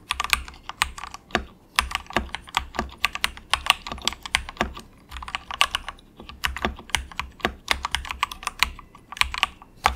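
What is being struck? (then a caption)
Plastic mechanical keyboard keys. Both hands type steadily with the fingertips on a compact 68-key wireless mechanical keyboard, a Ziyoulang K68 with plastic keycaps and a plastic case, resting on a desk mat. The result is a continuous run of short, bright, clacky keystrokes that die away almost instantly, with brief pauses between bursts over a faint low hum.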